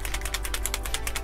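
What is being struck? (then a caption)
Plastic paint marker with a mixing ball. A gray Gundam paint marker with a plastic body is shaken well before use, its small mixing ball inside rattling in a rapid, steady series of bright clicks over a low background hum. The clip ends in a louder, fuller low burst as the shaking stops, and the rattle is the normal sound of the ball mixing the paint.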